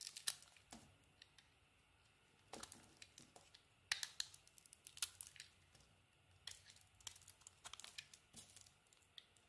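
A solid soap bar with a brown-pink coating and a white core is carved with a metal blade into curling shavings. Quiet, crisp, bright scraping and crackling bursts come in short clusters, with brief pauses between cuts.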